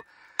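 A single sharp tap on hard, solid bedrock gives a bright, brief knock with almost no ring, centered high around 3.7 kHz. The hard sound contrasts with softer zones of the bedrock nearby.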